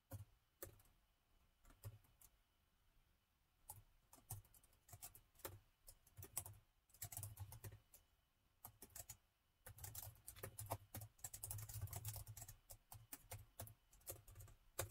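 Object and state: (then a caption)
Plastic laptop keyboard typing. Fingertips of both hands type on plastic chiclet keys of a metal laptop, producing short, dry key taps with a soft low thump and a bright click on top. The taps come in uneven bursts, sparse at first and then in a denser, faster flurry during the second half, each tap dying away almost at once.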